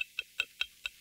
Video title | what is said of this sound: Seestar S30 来ました | スチール製のミニ三脚ですねプラスチックじゃないねかなり頑丈ですよ 金属音がしますね